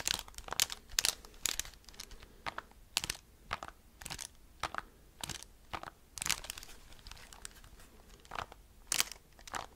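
Fingertips and nails tap and scratch the keys and hollow casing of a handheld black plastic graphing calculator. The result is an irregular run of quick, bright, crisp clicks and scratchy, crunch-like bursts that stop sharply, with little low end beneath them.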